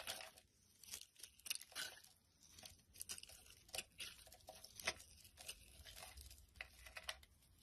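A utility knife blade scrapes a solid, translucent amber glycerin soap bar held in the palm, peeling off thin curled shavings. Quiet, crisp scraping strokes repeat irregularly, each a brief bright, papery crinkle with almost no low end and very little ring.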